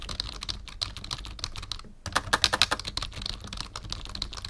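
Fingertips of both hands type on a black full-size plastic membrane keyboard with a numpad, resting on a wooden desk. Quick, irregular, bright plastic key clicks patter steadily, each dying away almost instantly. After a brief pause near the two-second mark, a louder burst of taps follows.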